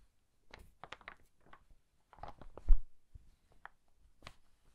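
The yellowed pages of an old hardcover book are turned and brushed with the fingers, making a series of soft, dry paper rustles and crisp brief crackles in a quiet space. One louder turn swells in the middle before the sounds fall back to faint, scattered swishes.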